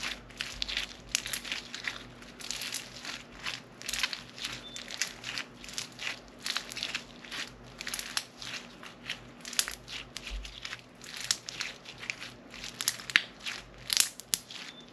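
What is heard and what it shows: A solid lump of lavender-blue crunchy floam slime packed with foam beads is squeezed and pressed flat by both hands with long nails. It gives dense, bright crunching and crackling in rapid bursts throughout, over a faint steady low hum.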